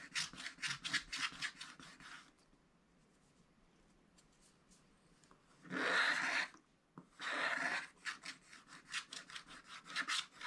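A wooden stylus scratches the black wax coating off a scratch-art paper page near a drawn cardinal, making quick, bright rubbing and scratching strokes. Bursts of rapid strokes open and close the clip. A quiet pause in the middle is followed by two longer, louder scraping passes.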